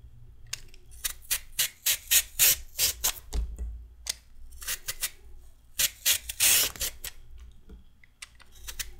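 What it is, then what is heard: Raw carrot being peeled. A metal peeler shaves a solid raw carrot into ribbons in quick repeated strokes. Each stroke is a short, bright, rasping scrape. The strokes come in two runs separated by a brief pause, with softer strokes at the end.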